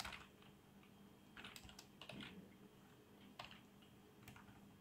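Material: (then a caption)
Plastic. Fingertips type on the keys of a black plastic membrane keyboard with RGB backlight, producing soft, bright clicks and muffled key taps in bursts. A faint low, steady hum sits underneath the irregular tapping.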